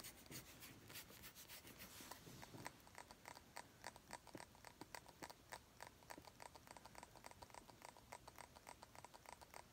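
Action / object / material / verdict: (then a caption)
tap / small glass bottle with liquid / glass / none. Long acrylic nails tap and scratch a small round clear glass bottle, partly filled with liquid and held in one hand. A soft stretch of scratching gives way to a quick, uneven run of short, bright clicks with a faint glassy ping near 1 kHz that dies away almost at once.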